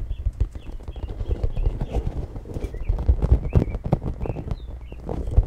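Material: Plastic.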